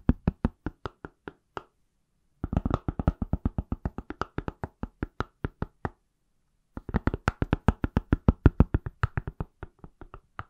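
The back of a palm-sized, solid iPhone in a pale silicone/plastic case is tapped with fingertips and nails in three bursts, about 54 quick taps in all. A slow run of taps is followed by two faster, denser flurries with brief pauses between. Each tap is a short, dry, low thump with a light clicky top and almost no ring.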